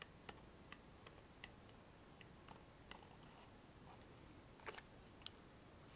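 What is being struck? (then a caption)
Small printed cardboard box tapped with fingernails. Long fingernails tap and scratch a small, hollow, printed cardboard Rescue Remedy box held in both hands. Sharp, bright clicks are scattered over a quiet, steady hiss, with a quick cluster of taps near the end. Each tick dies away almost instantly, leaving a dry, close sound.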